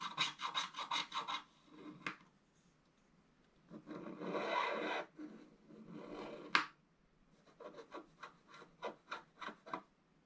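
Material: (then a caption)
Coated paper. A wooden stylus scratches slow strokes near the lower corner of a scratch-art paper board, giving a dry, bright rasp with almost no low end. Quick bursts of short strokes open and close the clip, and two longer, steadier scrapes fill the middle, the second ending in a sharp scratch.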